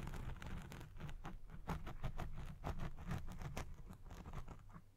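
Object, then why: Foam microphone windscreen. Fingertips with red nails scratch the top and sides of a black foam windscreen on the recording microphone, a Blue Yeti Pro. Close, muffled scratching and rubbing bursts come in quick irregular strokes, with a heavy low thump under each and a little high crackle. The sound fades at the end.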